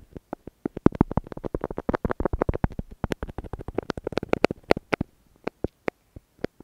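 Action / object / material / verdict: scrape / wax lipstick on tape over a plastic earphone mic / wax, plastic / none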